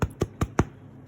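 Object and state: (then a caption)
Hollow-sounding baked bread loaf. Four quick taps on the bottom of a baked white bread loaf, focaccia style, give short, hollow, low thuds with almost no ring. The hollow sound shows the bread is ready.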